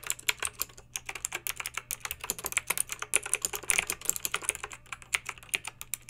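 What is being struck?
Plastic mechanical keyboard.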